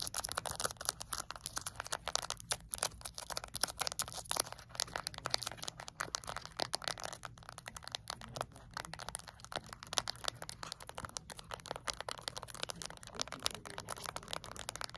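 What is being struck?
Small plastic remote control with rubber buttons.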